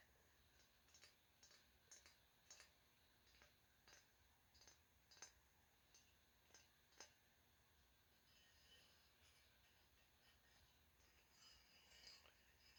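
Light taps on a green-and-orange ribbed glass vase that fades to orange at the bottom produce a series of quiet, bright clicks and clinks. Each tap dies away almost instantly, and the tapping grows softer and more scattered toward the end.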